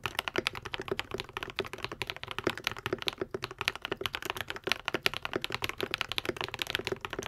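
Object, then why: Mechanical keyboard with plastic keycaps. Fingertips of both hands type rapidly and steadily on a white and pink 75% Epomaker TH80 mechanical keyboard with plastic keycaps, lubed Akko V3 Cream Yellow switches and a foam-modded hollow case. Each keystroke is a short, crisp clack with a bright top and almost no low end, dying away almost instantly.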